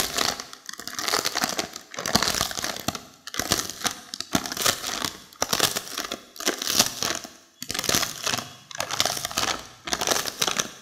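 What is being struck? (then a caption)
Plastic snack wrapper with seaweed sheets. A long, flat, printed plastic snack wrapper holding crisp seaweed sheets is held in both hands and squeezed and crinkled with long acrylic fingernails and fingertips. It makes bright, crackling crinkles in repeated bursts about a second long, separated by short pauses, with little low end and no lingering ring.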